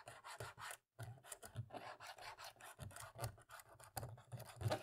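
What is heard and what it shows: A cotton swab rubs and scratches in the gaps between the black plastic keys on the left side of a dirty laptop keyboard. It makes quiet, dry, rasping strokes in quick uneven bursts, with a soft low thud under each stroke. A brief silence falls near the one-second mark before the scrubbing resumes.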